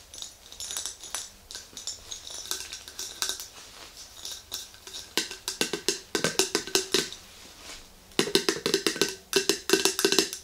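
Long green nails tap the metal lid and the clear glass body of an empty, hollow, medium-sized glass mason jar with a handle. Quick, bright clicks with a faint tone near 330 Hz come in uneven runs, growing louder and denser in the second half, each click dying away almost at once.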